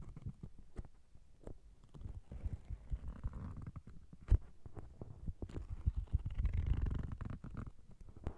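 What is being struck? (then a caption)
Paperback book with card cover. Long nails tap and scratch the glossy card cover of the same thick paperback novel, held slightly bent in the hand. The result is a quiet, muffled run of soft, dull taps and rustling scratches, almost all low in pitch, with one sharper tap near the middle. A denser, fuller stretch of scratching follows toward the end.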